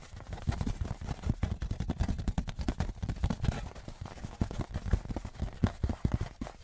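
A thin metal Patriots souvenir license plate, held upright on its edge in one hand, is tapped on its face and edge with fingertips and nails. The result is a rapid, dense run of short, dull, low-pitched taps that die away almost at once, with little bright metallic ring.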